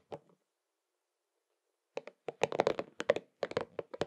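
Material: Rubber.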